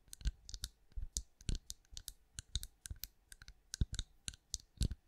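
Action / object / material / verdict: tap / pinecone-shaped wax candle / wax / none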